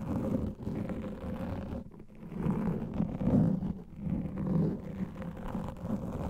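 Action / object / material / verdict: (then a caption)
scrape / foam microphone windscreen / foam / none. Fingertips and nails scratch across the top and sides of a large black foam microphone windscreen. It makes a dull, muffled rumbling rustle, mostly low and with almost no bright content, swelling and fading in uneven waves throughout.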